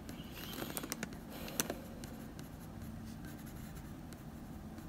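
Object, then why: Wooden pencil on drawing paper. A blue wooden pencil makes small strokes on the nose of a dog portrait drawn on a sheet of drawing paper, producing soft, bright scratching sounds. A cluster of light scratches comes in the first two seconds, then the clip settles into a quiet, steady low background.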